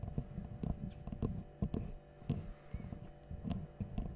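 A small, light, solid wooden L-shaped angle piece is held in both hands and tapped and scratched with long nails. Soft, muffled knocks fall at an uneven pace over a quiet scratching texture. The sound is mostly low and dull, with short taps that barely ring.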